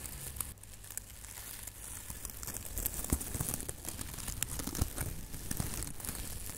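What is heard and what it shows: A hand-sized, airy silver metallic foil (plastic) tinsel Christmas ornament with loose strands is held, squeezed and rubbed with fingertips. It gives a steady, irregular crinkling with bright, crisp rustle over a low dull rumble, and a few sharper crackles stand out around the middle.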